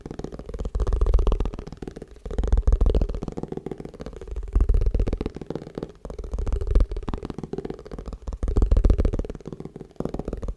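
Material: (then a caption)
Plastic. A plastic tupperware food container is tapped fast and aggressively, giving a stream of quick, dull, low thuds that rise and fall in bursts with almost no ring after each tap.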